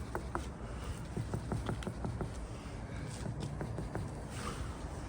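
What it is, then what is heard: Knock test on rendered brick wall, no verdict. Knuckle-style knocks on cement render over brickwork that was applied in cold weather, tapped to check for hollow-sounding delamination. A quick, irregular series of dull, low knocks dies away almost at once. No verdict is given yet, and the render is to be rechecked after 6 to 12 months.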